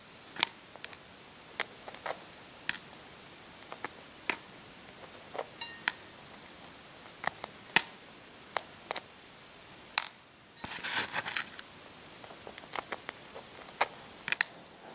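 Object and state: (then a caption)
Hard-boiled eggshell, intact. Short fingernails pick and scratch at the intact thin calcium shell of a whole hard-boiled brown chicken egg held in both hands. Sharp, bright clicks and ticks come at irregular intervals over a quiet background. A brief burst of dry, scratchy crackling rises partway through.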